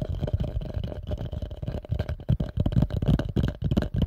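A hollow, empty pale yellow plastic bowl, held upside down near the mic, is tapped quickly with fingertips and nails. The taps come in a fast, uneven patter of short, deep, hollow thuds that stop almost at once, with almost no high, bright content.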